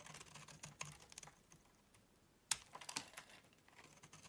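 A utility knife blade shaves flakes off a solid rectangular yellow bar of soap held in the palm. Quick, dry, bright scraping strokes come in an uneven rhythm, with a quieter stretch in the middle. A sharper, louder stroke follows, then smaller crisp scrapes.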